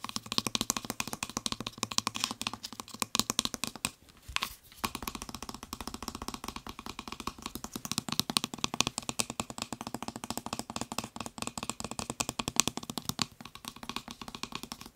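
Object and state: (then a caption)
Plastic spray bottle trigger head. Fingertips and nails tap rapidly on the nozzle and trigger of a white plastic trigger spray head on a blue plastic Febreze bottle. The result is a dense stream of dry, bright plastic clicks and taps that die away almost instantly, with a brief pause just after the four-second mark before the fast tapping resumes.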